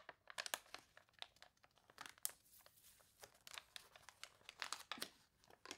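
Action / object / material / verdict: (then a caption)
scrape / glossy paper catalog pages / paper / none. Long nails rub, press and crinkle the warped glossy paper pages of a thick toy catalog. Dense, quiet crackles and crunchy rustles come in quick irregular bursts, all bright and high with almost no low end. Each crackle snaps off almost instantly.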